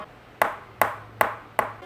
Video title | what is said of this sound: Aorus X7 v6 Gaming Laptop ( Core i7 6820HK + GTX 1070 ) - #ReviewBray | Ketok aja pakai tangan bunyinya terasa beda.